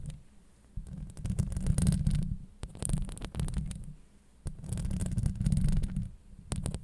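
Long acrylic nails scratch across the hollow steel mesh grille of a Blue Yeti microphone. The result is deep, muffled rumbling and scraping in uneven bursts with faint bright crackles, separated by quieter pauses.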